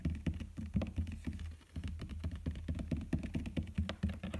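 Fingertips with dark-painted nails tap and scratch the top and side of a large rectangular storage box or chest covered in shiny silver embossed rose-pattern paper or vinyl, resting on a wooden floor. The result is a rapid, uneven patter of dull, low, hollow-sounding knocks with short decays, mixed with faint scratching.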